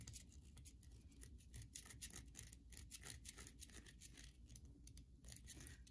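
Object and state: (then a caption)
Bar soap scratched with nails. Long nails scratch the face of a solid white bar of soap held in the hand, leaving grooves. Quiet, rapid, crisp scratching strokes give bright, high bursts over a steady low rumble.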